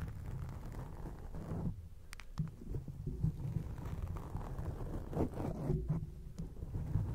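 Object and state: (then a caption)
Foam microphone windscreen scratched. Long acrylic nail tips scratch a grey foam microphone windscreen, producing a continuous, muffled, low rumbling scrape. A few brief bright clicks cut through the dull texture now and then.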